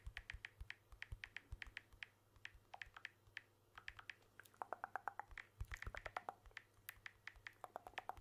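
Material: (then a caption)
Glass. Fingertips tap rapidly on the glass back and aluminium edges of a blue smartphone held in one hand, producing a quick stream of short, dry, bright clicks. About halfway through, the taps grow louder and denser and take on a hollow, mid-pitched tone. A faint low hum sits underneath the whole time.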